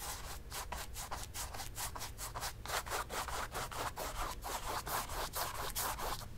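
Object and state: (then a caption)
Brush scrubbing paint on stretched canvas. A flat bristle brush dabs and scrubs black paint along the lower edge of a large stretched cotton canvas, hollow behind on a wooden stretcher frame and lying on a table. Quick, uneven scrubbing strokes make bright, papery rasps over a low, hollow drum-like rumble from the taut canvas.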